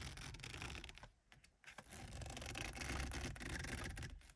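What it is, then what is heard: Textured plastic steering wheel. Long acrylic nails and fingertips tap and scratch along the black rim of a 1982 Mercedes 200 steering wheel, which has a grippy textured plastic or rubber surface over a solid core. A dense, raspy scratching with a low thumpy body and bright edges briefly drops away, then returns louder and steadier before fading at the end.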